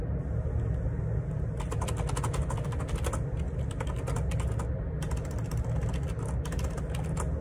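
Fingertips type on the plastic keycaps of a black Perixx Periboard 612 wireless Bluetooth dual ergonomic split keyboard resting on a grey desk. Quick bursts of light, clicky key taps come in two stretches over a steady low rumble that dominates the clip. The taps are faint, bright and short against the constant low background.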